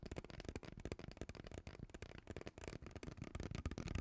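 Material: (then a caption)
Plastic. Long teal nails scratch along the ridges of a hollow, purple ribbed plastic pop tube and tap on it. The result is a quiet, dense run of quick, dry crackling scrapes and soft taps, weighted toward the low end, with each sound dying away almost instantly.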